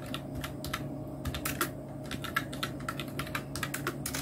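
Fingertips of both hands type on a full-size black Nubwo Illusion NK-70 mechanical keyboard with Outemu red switches, round plastic typewriter-style keycaps and a blue backlight. A steady run of short, crisp plastic clicks and clacks, pitched around 1.3 kHz, rises over a constant low hum, each keystroke dying away almost at once.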